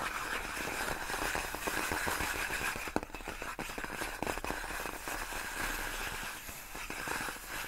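Long nails scratch along the hollow, air-filled tubes of large, clear, inflated plastic air-column cushion wrap. The result is a steady, dense, scratchy rasp with a bright, hissy edge. Occasional sharper clicks pop out near the middle.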